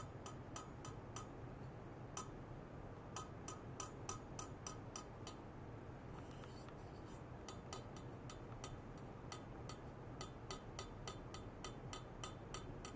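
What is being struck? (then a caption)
Stainless steel pipe. A thin rod held vertically taps a long, hollow, horizontal stainless steel pipe about 31 times. The pipe rests in white foam net sleeves on a lab bench, with sensor cables attached. Each tap is a short, bright metallic clink with a brief high ring; the taps come in uneven bursts with a lull around six to seven seconds, over a steady low hum.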